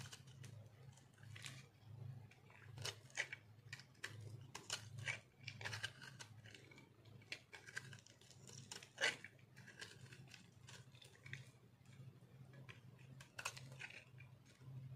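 A metal cutter scrapes and shaves crunchy flakes from a solid, round, dry soap ball, pink-orange and speckled, held in a hand. Dense, quick, bright crackling scrapes come in uneven bursts over a steady low hum, with one louder crunch near the middle.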